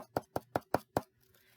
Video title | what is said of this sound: The Empty Pinata | what do you think you put inside a pinata it's hollow you hear it now